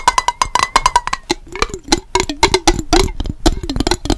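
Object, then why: Glass jar with water. A small clear glass mason jar with a yellow-banded lid, partly filled with blue-tinted water, is held in both hands and tapped quickly with fingernails on its glass body. It makes a rapid, uneven run of short, bright clicks that die away almost at once. The early taps carry a glassy ping near 1 kHz, and the later ones drop to a duller, lower knock.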